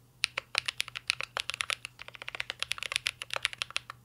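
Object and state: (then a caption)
Mechanical keyboard, metal case with plastic keycaps. Fingertips of both hands type continuously on a mint green Cyberboard R3 mechanical keyboard with a metal case and plastic keycaps. A quick, steady run of about thirty sharp, bright clacks stops dead after each stroke, with almost no low end beneath them.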